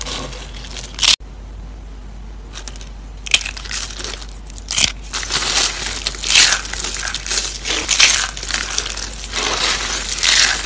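Mixed blue and pink dried soap curls are crushed and crumbled between fingers. The result is irregular bursts of dry, bright crunching and crackling, with a brief silent gap near the start, that grow denser and louder toward the end.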